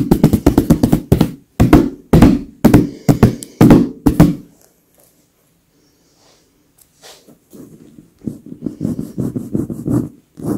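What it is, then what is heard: Leather pillow. Long acrylic nails tap, knock and scratch on the stuffed surface of a soft white leather pillow. Quick, soft, low thumps come in dense bursts, then a near-silent pause, then a gentler run of taps with faint scratching. The sound stays muffled and dull with little ring.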